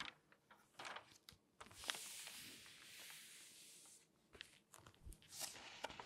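Long painted nails scratch and rub across the pages of an open glossy paper magazine, and pages are turned. Soft, bright, crinkly scratches and taps give way to a long rustling sweep of a turning page, then more light scratching and rubbing.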